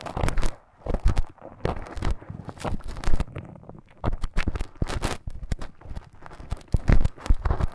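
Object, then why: Soft silicone ear model and thin bamboo stick. A thin bamboo stick scratches inside the ear canal of a life-size soft silicone ear model. It makes close, dense crackling and scraping with papery tearing and crinkling textures. The strokes are deep and muffled, and they come in uneven bursts with brief pauses between them.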